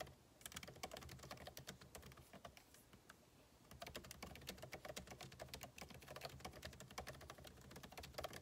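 Fingertips of both hands type continuously on a backlit MacBook Pro keyboard, with plastic keycaps set in an aluminum body, resting on a desk. Many fast, short, crisp key taps rattle out with a bright click and a light low thump, easing off briefly near the middle before picking up again.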